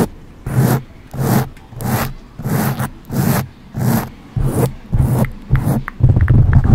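Long acrylic nails on both hands scratch a soft, porous black foam windscreen on a silver condenser microphone. The result is a steady series of separate rubbing strokes, each a low, muffled, rumbling scrape with a breathy, brighter hiss on top, divided by short quiet pauses.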